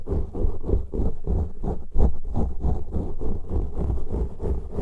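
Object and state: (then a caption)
Foam microphone windscreen being scratched. Fingertips and nails of both hands, one hand on each, scratch and rub two matching soft, porous black foam windscreens on studio microphones. The result is a close, deep rumbling scratching in quick repeated bursts, almost all low end with no bright top.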